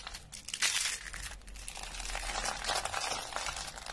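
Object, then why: Soap curls. Rolled, dry pink soap curls are squeezed and crushed by hand into brittle flakes, with a few green flakes lying nearby. A steady run of dry, bright crunching and crinkling is heard, with a louder burst of crackle near the start. The soap breaks down into small flakes.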